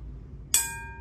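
A bronze bell weighing about 1 kg, about 14 cm across and nearly 8 cm tall, is struck once with a ruler. It gives a bright metallic clink, followed by steady high ringing partials that fade over about half a second above a low background hum. The bell sounds very nice, with a clear, golden tone.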